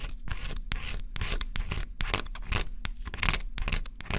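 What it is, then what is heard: Coated cardboard scratch-off puzzle being scraped. A small stylus held in the fingertips scratches the black coating off a flat, thin cardboard scratch-off jigsaw puzzle with repeated short strokes. The result is a close, dry run of rapid scratchy bursts that flare bright in the upper range over a steady low rumble.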